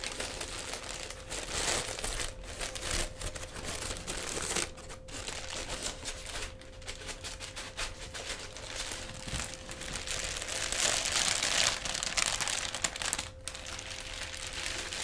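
A pink tissue-paper honeycomb fan decoration, light and hollow and about hand-to-forearm size, is folded and unfolded, then squeezed and crinkled with fingers and hands. The result is a dense, continuous run of bright, papery crackling and rustling with brief dips, over a faint steady hum near 500 Hz.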